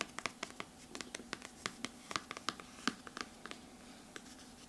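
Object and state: Hardcover book cover.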